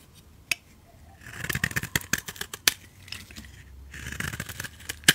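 A utility knife blade shaves long curls off the surface of a solid, oval beige soap bar held in hand. Two stretches of crisp, bright scraping and crackling are heard, scattered with sharp ticks and a few louder snaps. The result is a dry, high, brittle shaving sound with very little low end.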